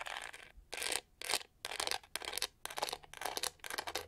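Long nails scratch and tap across the studs on the pyramid-textured hollow back of a pink-to-gold plastic detangling hair brush. Short, bright, dry scratching bursts come in an uneven rhythm of roughly two per second, with almost no low end. Each burst stops quickly with no ring.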